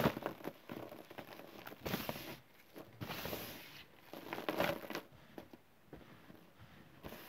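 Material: Chalk powder.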